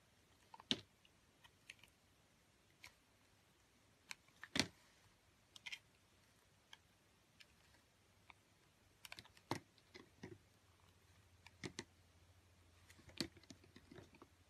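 A metal box-cutter blade shaves and carves pieces off a solid red speckled soap bar held in a hand with long nails. About fifteen quiet, crisp, bright scraping clicks come at irregular intervals, each dying away almost instantly. A faint low hum sits underneath.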